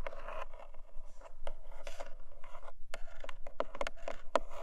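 Long nails scratch and tap the textured lid of a small, long, closed black cardboard jewelry gift box resting on a fluffy blanket. Dry, rasping scratches fill the first part, giving way to sharper, quick taps with almost no ring, centered in the midrange around 570 Hz.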